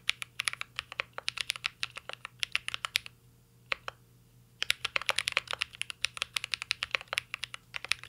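Fingertips of both hands type continuously on a mint green Cyberboard R3 mechanical keyboard with a metal case and plastic keycaps. The keys make rapid, bright, short clicks and clacks with almost no low end. The typing pauses briefly in the middle, with one lone keystroke, before resuming at a steady pace.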